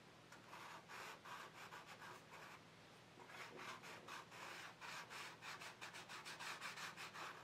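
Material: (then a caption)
Paper. A stick of soft chalk pastel, held in the fingers, is scratched and rubbed in strokes across a large black paper sketchbook page lying flat on a table. Quiet, dry, bright scratchy strokes come in quick, uneven bursts. They pause briefly near the middle, then pick up again in a steadier run.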